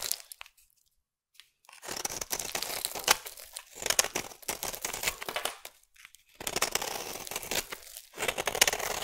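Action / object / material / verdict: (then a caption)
scrape / bar of soap carved with a metal blade / soap / none. A metal blade scrapes and carves the surface of a partly carved peach bar soap. Bright, crumbly shaving and crackling sounds come in long bursts, separated by brief near-silent pauses, with little low end.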